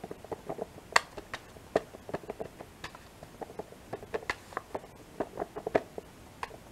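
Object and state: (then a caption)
Sealed plastic yogurt pack with foil lid. A small, full, two-compartment plastic yogurt-and-cereal pack with a printed foil/paper lid is held in one hand and tapped and scratched on the lid with long painted fingernails. Quick, dry, irregular clicks and light ticks sound over a faint scratchy rustle. Each tap is short and mid-pitched with a brief bright edge.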